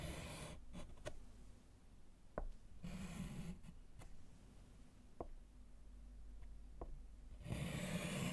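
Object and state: Chalk writing on a slate board.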